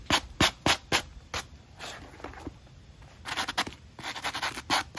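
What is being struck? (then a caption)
Rubber and foam shoe sole with nylon brush. A black Nike running shoe is held upside down in hand while its textured rubber outsole and white foam midsole are scrubbed dry, back and forth, with a small black stiff-bristle nylon brush. About 17 quick, bright, scratchy strokes come in uneven bursts, with a softer, quieter stretch in the middle before the scrubbing picks up again.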